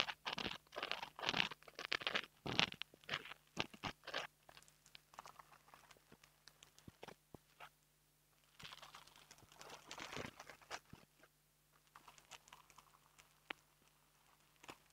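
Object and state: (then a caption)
Foam microphone windscreen. A long fingernail taps and scratches the surface of a small black foam microphone windscreen held in the fingers, making dry, bright, crunchy scratching bursts. The scratches come dense and loud in the first few seconds, thin out into sparse soft taps, swell into another scratchy burst around the ninth to eleventh second, and end in scattered light taps.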